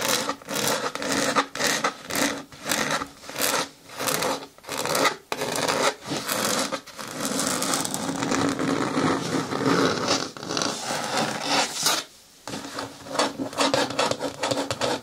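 Long nails scratch and rub along the rim edge of a green hard plastic bin with a lid. The result is a steady run of dry, bright scraping strokes with brief gaps between them, then a longer continuous rub before the short strokes resume.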